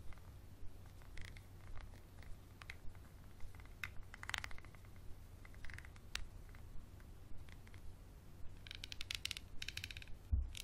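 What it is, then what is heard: Textured glass bottle. A small, empty, textured glass bottle with a dark cap is held in hand and scratched and tapped with a wooden pencil. Quiet, irregular clicks and scratchy rasps are heard over a steady low hum, with a brighter burst of scraping near the end.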